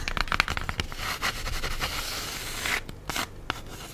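Long nails scratch and rub across the top of a black, textured styrofoam cheese container lid wrapped in plastic. The result is a dense run of crisp, bright scratching and crinkling with quick ticking strokes. It thins toward the end, leaving softer rubbing and a few sharp taps.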